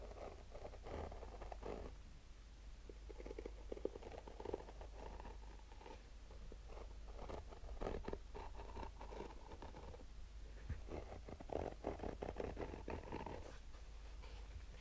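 Short nails scratch slowly across the textured black mesh fabric of a rigid, hollow, fabric-covered hard-shell sunglasses case, heard close-up. It makes quiet, dry, rasping strokes in bursts, with a soft low rumble underneath and no ringing.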